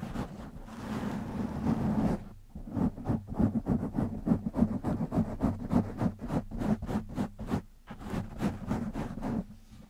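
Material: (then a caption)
Foam. Fingertips of both hands scratch a black foam windscreen on a microphone. A continuous rough, rustling scratch fills the first two seconds, then gives way to rapid, fairly irregular scratching strokes at about three per second, each a short burst of bright noise over a low, muffled thump.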